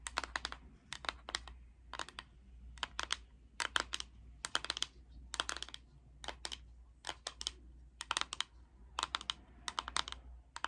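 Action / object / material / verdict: tap / plastic powder jar tapped with fingernails / plastic / none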